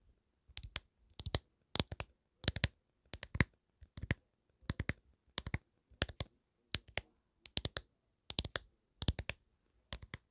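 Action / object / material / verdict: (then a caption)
tap / hard plastic phone case / hard plastic / none. A smartphone in a black hard plastic case with graphics, held in one hand beside the mic, is tapped and clicked with fingertips and nails. The result is fourteen quick bursts of two or three sharp, dry clicks each, bright on top with a light low thud and almost no ring.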